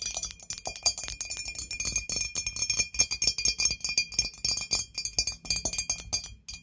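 A hollow, white glazed ceramic ghost-shaped candle holder lying on its side is tapped and scratched with long nails. Rapid, bright clicking taps with a very short ring mix with thin scratching, producing a dense run of light, high, glassy clinks.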